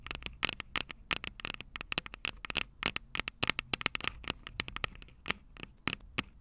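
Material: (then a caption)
Metal. Long purple nails on both hands rapidly tap and scratch the small metal X/Y microphone capsules on top of a plastic Tascam DR-05 recorder, the same mic doing the recording. The result is a dense run of sharp, bright clicks with almost no ring, centered in the upper mids around 2.2 kHz, with scratchy crackle between taps and very little low end.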